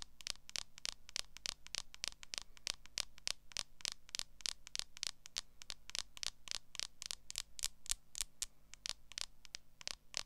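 Long acrylic nails scratch quickly and repeatedly across the back of a smartphone in a clear plastic case. Dozens of short, bright, crisp scratches follow one another in a steady rhythm over a faint low hum.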